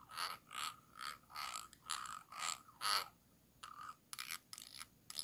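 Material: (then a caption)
Glass. The tip of a thin dark stick scratches back and forth along the ridged bottom rim of a small, round, hollow clear glass jar with a light inside, held upside down in one hand. Each stroke makes a bright, rasping scrape with a ringing tone around 1.3 kHz. The strokes come in a steady rhythm at first, then turn shorter and more irregular after a brief pause.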